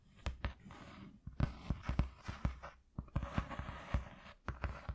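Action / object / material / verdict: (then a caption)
tap / corrugated cardboard sheet / cardboard / none. Fingertips and nails tap and scratch a flat white corrugated cardboard piece lying on a dark cloth. About fourteen short, dull, low thumps land irregularly, with quick dry scratching rasps filling the gaps between them.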